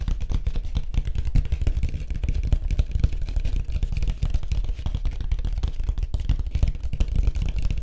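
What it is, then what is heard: Surfboard. Fingertips tap rapidly on a white surfboard, making a dense stream of short, dull, low thumps with very little ring or high-frequency content.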